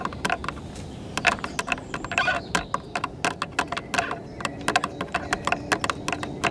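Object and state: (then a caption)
Plastic car tail light tapped with nails. Very long red acrylic nails on both hands tap and scratch the red and clear plastic tail light lens of a silver car, a large, hollow, rigid housing. Quick, irregular clicky taps with a hollow midrange tone and bright highs die away almost instantly, mixed with light scratching over a steady low background.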